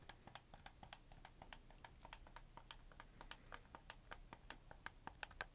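A red camo plastic PS4 game controller is held up in both hands while fingertips click its triggers and shoulder buttons. Quick, dry plastic clicks with a bright, high edge come in an irregular stream over a soft low background hum, each one dying away almost instantly.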